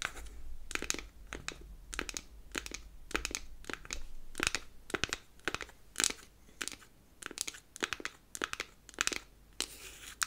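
Long acrylic nails tap and scratch the flat faces of a square, palm-sized, hollow powder compact made of unfinished beech wood. The result is a run of short, dry, bright scratching and tapping bursts with almost no ring, over a faint low hum.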